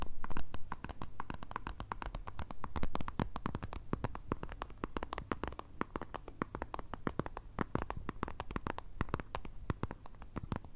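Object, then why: Plastic squeeze tube of cream. Long red nails rapidly tap and scratch the printed plastic surface and cap end of a white Nivea squeeze tube of cream, hollow and filled with cream. The result is a quick, steady stream of dull, low, muffled taps mixed with soft scratching, with little bright content.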